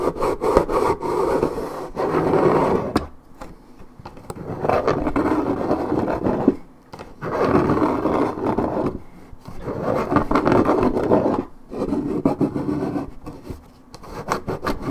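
Long nails scratch and rub deep across the top of a coated paperboard orange juice carton held steady. The sound comes as rough, papery strokes lasting a second or two, with a warm, mid-low rasp centered around 400 Hz. Short quiet gaps separate the strokes, and there is almost no bright high end.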